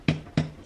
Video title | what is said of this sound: The Knight Before Christmas - Making Saffron Buns | hear that nice sort of hollow sound that it gets